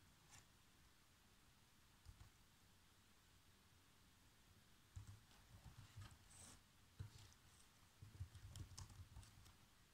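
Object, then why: Plastic laptop keyboard. Fingertips with short nails type fast across the black plastic chiclet keys of a laptop keyboard. Quiet, irregular bursts of soft tapping with low thuds and brief bright clicks come after a mostly still opening, growing busier in the last half.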